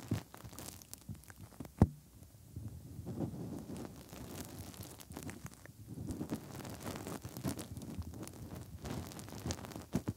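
Bare fingertips push into and rub inside the hollow ear canal openings of the soft silicone ear shells on a 3Dio binaural microphone, like finger ear cleaning. This produces close, muffled low rumbling and soft crackly rubbing. Occasional sharp thumps stand out, the loudest near the two-second mark.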